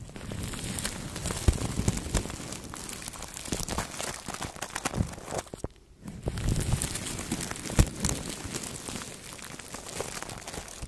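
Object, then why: Plastic cling film stretched over a microphone. Two makeup brushes held in the fingertips brush and rub across clear plastic cling film wrapped tightly around a large microphone head. The result is a dense, continuous crinkling and scratching with a heavy low rumble and bright rustle on top. It dips to near silence briefly near the middle before the rubbing resumes.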